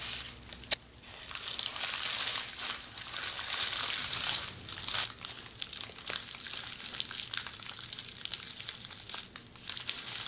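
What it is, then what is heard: Plastic bubble wrap. A rolled bundle of red plastic bubble wrap is turned and squeezed in the hands while long red nails scratch and crinkle it. The result is a steady bright crinkling with irregular sharp snaps and crackles, most intense in the middle stretch.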